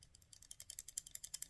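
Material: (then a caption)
Metal. The metal firing button on a Microtech Ultratech OTF knife is wiggled back and forth, making about 13 quick, quiet, bright clicking rattles with almost no ring. The button is slightly loose with a little play, though the blade itself does not rattle when shaken; this play leaves more room for dirt and gunk than on the Cobra Tech.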